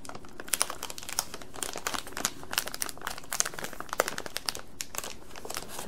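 A clear printed plastic bag full of carrot-shaped candies is held in both hands and crinkled and squeezed with the fingertips. The result is a dense, continuous run of sharp, bright plastic crackles and crinkles with brief louder snaps throughout, each dying away almost instantly over a faint low background.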